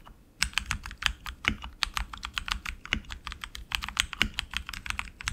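Both hands type quickly with their fingertips on an RGB-lit tenkeyless mechanical keyboard, which has plastic keycaps on lubed tactile switches in an aluminum frame and rests on a desk mat. A rapid stream of short, bright clicks and clacks follows a quiet start, each dying away almost at once over a faint low thud.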